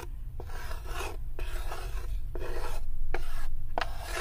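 Long nails scratch back and forth across the inner floor and side of a light, unfinished wooden serving tray that sits open and empty. The result is a steady, repeated dry rasping, with each stroke starting on a brief scrape and a constant low rumble underneath. The scratching grows slightly louder toward the end.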